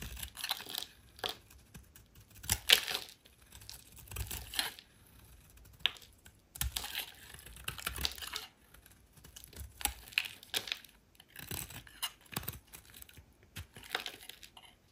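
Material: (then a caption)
Soap. A solid oval pink soap bar is held in the hand and shaved with a metal utility knife blade into chunky curls. Short, dry, bright scraping strokes come in irregular bursts, with crisp crackling as each curl peels away.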